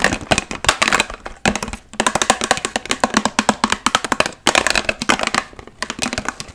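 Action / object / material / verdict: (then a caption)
tap / large plastic water bottle / plastic / none. Long nails covered in paperclips tap fast on a large, hollow, partly filled clear plastic water bottle. The result is rapid bursts of sharp, bright clicks with almost no low end and no ring, broken by brief pauses near 1.9 and 4.4 seconds.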